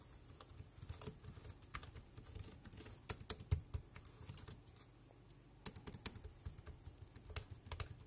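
Fingertips type on the keys of a dark grey plastic compact wireless keyboard, producing quick, irregular clicks with bright, sharp attacks over a soft low thud. The tapping runs steadily, pauses briefly near the five-second mark, then resumes with a few louder key strikes.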